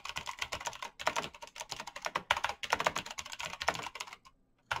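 Fast typing with bare fingertips on a black plastic mechanical keyboard with clicky switches produces rapid, bright, sharp key clicks that die away almost instantly. The taps run in quick bursts, briefly fall silent near the end, and then resume with a final strike.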